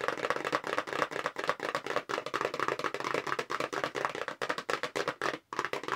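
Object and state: Cardboard box.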